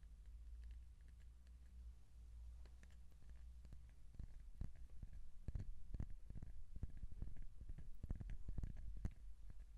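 Fingertips tap and scratch along a hollow kraft cardboard tube held horizontally. A steady low hum runs under faint scratching at first, then soft, dull taps come in an irregular patter, growing slightly louder and denser toward the end. Each tap is short and muffled with almost no ring.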